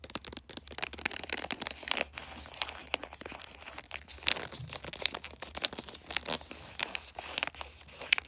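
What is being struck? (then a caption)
Glossy paper wrapping on a cardboard box. Long nails scratch and tap the flat top of a rectangular gift box wrapped in glossy bulldog-print paper. A dense stream of bright, crinkly scratches and quick dry clicks runs throughout, with sharper taps standing out, over a faint low hum.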